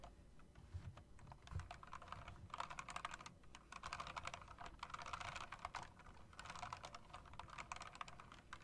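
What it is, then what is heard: Mechanical typewriter-style keyboard. Two hands with long dark nails type continuously on a mechanical typewriter-style keyboard with round plastic and metal-rimmed keycaps. The result is a dense, rapid stream of sharp, bright key clicks centered around 1 kHz, over a faint low rumble.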